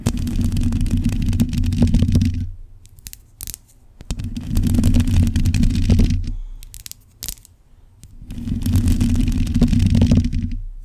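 Long pointed acrylic nails of both hands scratch the hollow black metal mesh grille of a large USB microphone. The scratching comes in three dense bursts separated by quieter pauses, heard as a deep, boomy rumbling texture with fine rapid scraping and some bright crackle on top.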